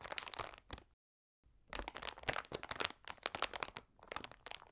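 A large glossy plastic Trolli Multi Mix bag (300 g), full of individually wrapped sweets and lying flat on a table, is pressed and scratched by both hands with long red nails and fingertips. Bursts of bright, dry crinkling and crackling are heard, broken by a short silence near the one-second mark.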